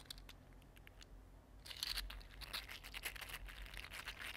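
A mini green silk-plastic, 3D-printed articulated slug is held in both hands and bent and squeezed with the fingertips, making its segments click. Faint, sparse ticks at first give way to a dense run of bright, crackly clicking and crinkling from its jointed segments.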